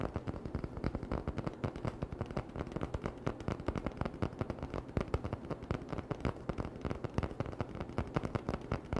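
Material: Cardboard.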